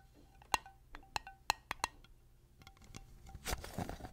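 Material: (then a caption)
Glass. Long nails tap and scrape the silver metal lid and glass sides of a small, clear, hollow glass mason jar tilted close to the microphone. Sharp, bright clinks with a short ring come in an uneven rhythm. They give way to a softer, hissy scraping near the end.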